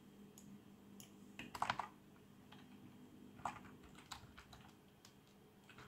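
Fingertips of both hands type on a black plastic membrane keyboard with RGB backlight. The keystrokes are soft, muffled clicks that come in irregular bursts, with a brief cluster of louder taps early on. Each tap decays almost instantly, leaving a faint steady background hum between them.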